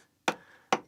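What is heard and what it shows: Two sharp taps strike a log of Collyweston stone slate, a sandy limestone, along its seam to split it into slates. Each tap gives a bright, ringing knock centered around 770 Hz that fades quickly. The ringing shows the log starting to separate, and it should cleave into four or five big slates.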